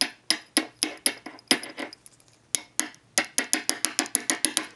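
A fishfinder transducer sensor, connected to an amplifier, is tapped with something metallic, giving about twenty sharp, bright clicks with very short decay, some spaced apart and others in a quick run. The taps coming through the amplifier show the sensor's receiving end, or pickup, is working.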